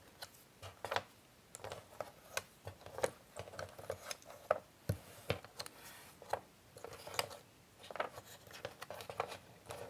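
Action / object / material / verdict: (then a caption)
scrape / cardboard jigsaw puzzle pieces on a board / cardboard / none. Two flat hands with long nails rub and shuffle many small, thin, solid cardboard jigsaw puzzle pieces around on a grey board. A soft, continuous papery scraping is heard, broken by frequent short, bright nail clicks that stop almost instantly.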